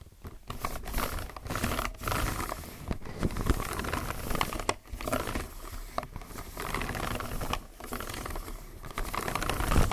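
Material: Plastic.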